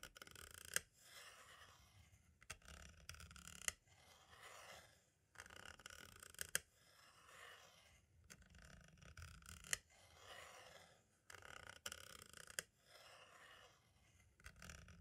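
A green-and-black striped tool repeatedly taps and scratches near the right hub hole of a hollow plastic compact audio cassette shell. Soft, bright scratchy rustling comes in alternating bursts, punctuated by sharp, dry plastic clicks that die away almost instantly. The sound stays quiet and close throughout.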